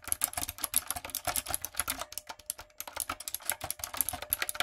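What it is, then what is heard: Plastic typewriter-style mechanical keyboard. Long coffin nails and fingertips type on a backlit, typewriter-style mechanical keyboard with round retro plastic keycaps and a hollow plastic body. Some three dozen sharp, bright clacks come in a quick, uneven run, each dying almost instantly, with a faint steady tone humming underneath midway and very little low end.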